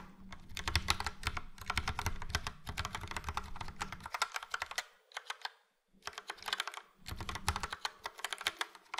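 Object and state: Plastic mechanical keyboard being typed on.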